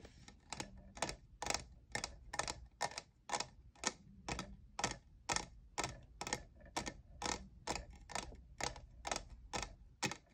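Fingernails tap the faceted side of a tall, hollow lavender plastic jeweled tumbler that appears empty. A steady string of short, bright, clicky taps comes at about two per second, each dying away almost instantly over a faint low hum.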